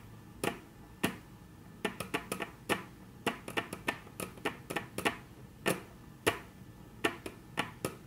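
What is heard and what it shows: Very long natural nail tips tap on a flat, solid, dark brown wood-grain tabletop. There are 24 short, dry, clicky taps in an irregular rhythm, some spaced apart and others in quick bursts, each dying away almost instantly over a faint steady hiss.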